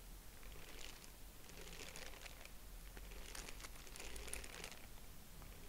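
A purple tissue-paper honeycomb is stretched and squeezed between both hands, giving a soft, continuous crinkling and rustling. Bright, papery crackles rise and fall in small bursts over a faint low rumble throughout.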